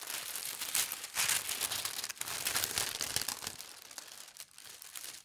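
Fingertips with long red nails smooth a thin, leaf-and-berry printed tissue paper sheet on a table and briefly lift it. This produces continuous, dense crinkling and rustling that is bright and airy, with almost no low end. The sound swells and fades in uneven bursts before softening toward the end.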